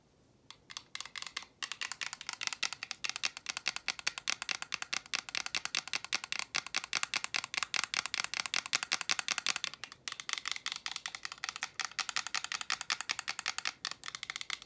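A small roll of clear invisible tape with a green striped core, held in hand, is tapped and scratched with long painted nails. Rapid, dense, bright clicking and scratching continues with only brief pauses. There is almost no low end.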